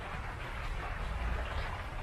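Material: Nothing is struck.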